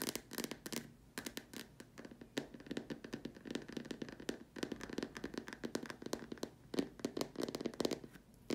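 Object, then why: Plastic dome lamp shade. Long dark nails tap quickly and irregularly on the top and sides of a large, hollow white plastic dome lamp shade. Each tap is a short, dry, hollow click with a low-mid body around 277 Hz and a bright edge, dying away almost instantly. The taps come in uneven bursts with brief pauses between them.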